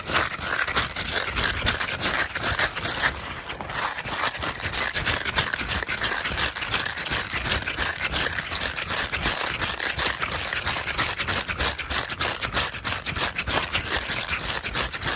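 A hand-sized white soft silicone/rubber pad covered in dense thin spikes is held in both hands while fingertips rub and scratch the spikes quickly. This makes a continuous, bright, crackling scrape of rapid rustling flicks. It runs steadily for about fifteen seconds with a brief dip near three seconds.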